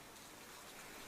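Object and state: Nothing is struck.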